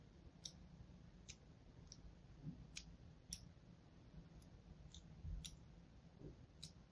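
A thin metal needle-like tool, held in a hand with painted nails, repeatedly scratches and scores lines into a small solid bar of green-and-white striped soap held in the other hand. Each stroke makes a short, bright, crisp scratching click that dies away almost at once, spaced out over a steady low background rumble.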